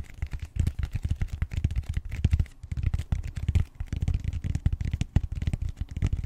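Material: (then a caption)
Styrofoam. Fingertips and short nails scratch the edge and face of the flat round end of a purple bead-textured styrofoam roller. The result is a rapid, uneven run of short, dry scratching bursts that sound deep and muffled, with almost no bright content.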